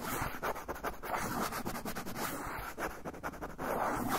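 A brown kraft paper pouch is held upright while fingernails scratch along its paper edge and surface. The result is a continuous run of quick, dry scratching and rasping strokes with a papery, crinkly texture, strongest in the mid range with bright edges. Each stroke dies away almost at once.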